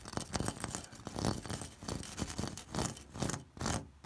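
A fingertip and nail scratch along the ridges of an orange, ribbed terracotta corrugated clay roof tile. Quick, irregular rasping scrapes follow one another, each a brief burst of bright, gritty hiss over a dull, low body that dies away almost at once.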